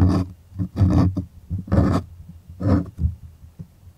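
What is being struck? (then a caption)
Stretched cotton canvas on a wooden frame. Fingertips and nails scratch across the surface of a stretched white cotton art canvas on a wooden frame, with the hollow space behind it. The result is a series of uneven, rasping strokes that come in bursts at irregular intervals. Each stroke has a deep, hollow, drum-like body and fades quickly between scratches.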